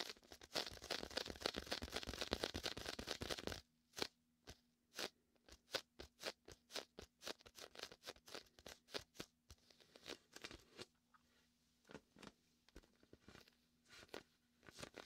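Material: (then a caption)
Vinyl. Fingertips rub and scratch the vinyl skin of a large, hollow, air-filled red and white inflatable PVC beach ball, then the ball is moved to the right side of the mic. A dense, bright crackling rub fills the first few seconds, then gives way to sharp, dry, sticky snaps and crunches spaced irregularly over quiet gaps. A faint low hum sits underneath.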